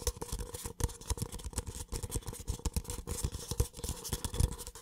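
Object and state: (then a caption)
Empty paper cup. A small, empty, hollow white paper cup is tapped and scratched on its wall and base with the fingertips close to the microphone. The clip is a quick, uneven run of soft, dull taps with low, thumpy weight, mixed with a light scratchy rustle and a faint steady hum in the midrange.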